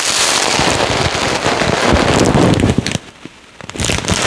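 A full, clear plastic bag of yellow polystyrene foam beads is rubbed and pressed with fingertips, then lifted and squeezed so the beads crackle. A dense, bright crackling rustle runs steadily for nearly three seconds, falls to near silence with a few faint ticks, then crackles back in toward the end.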